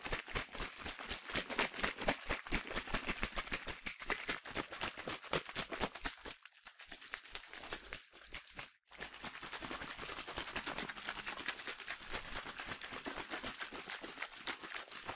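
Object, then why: Plastic bottle with liquid. A medium-sized yellow plastic sunscreen bottle, partly filled with liquid, is shaken vigorously by hand so the liquid sloshes inside. Rapid, bright, splashy sloshes repeat about twice per second, with brief lulls near 6.5 and 8.8 seconds before the shaking resumes.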